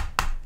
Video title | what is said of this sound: U-Board Stand - Unboxing | it seems like Hollow plastic really